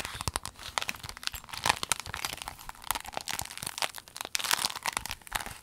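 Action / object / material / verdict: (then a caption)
scrape / clear vinyl pencil case / vinyl / none. A rainbow clear vinyl pencil case, folded and rolled, is squeezed and crinkled with long nails. A dense stream of bright, crisp crackles and sharp snapping clicks runs throughout, with little low-end weight.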